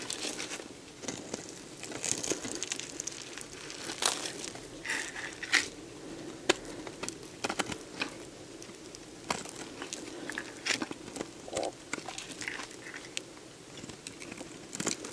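A metal box-cutter blade scrapes crumbly shavings off a solid, dried, hand-sized beige soap bar. The scraping makes a steady, bright, crackling crunch, broken by frequent sharper snaps as the flakes break away.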